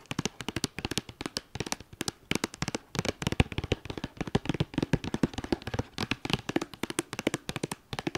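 Long dark nails tap and scratch the flat top of a white cardboard eyeshadow palette sleeve with a red star, resting on a fleece blanket. A rapid, uneven run of dozens of short, dry taps, each with a dull low thump and a bright papery click, mixes with light scratching between them. The taps die away instantly with no ring.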